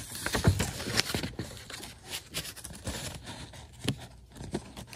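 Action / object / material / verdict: tap / printed cardstock badge / paper / none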